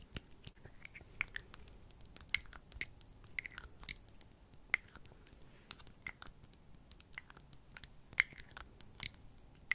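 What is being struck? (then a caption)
Small glass perfume bottle with metal cap. A small rectangular glass perfume bottle, partly filled with amber liquid and topped with a metal cap, is held close and tapped and handled with long nails. Quick, bright clicks and taps with glassy high pings around 2 kHz come irregularly over a quiet background, each dying away almost at once.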